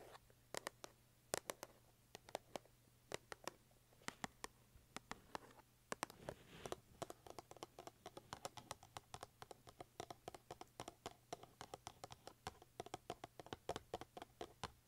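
Long acrylic nails tap and click rapidly on a small white cardboard box printed with cartoon oranges, held up in the air. The sharp, dry taps come in quick irregular bursts over a faint steady low hum, with a brief scratchy brushing sound partway through.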